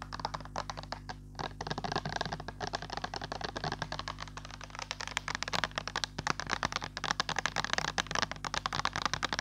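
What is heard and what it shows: Long nails and fingertips tap quickly on a clear plastic pump bottle of hand sanitizer, partly filled with green gel. The result is a stream of short, dry, bright clicks over a steady low hum, growing denser and louder after about five seconds.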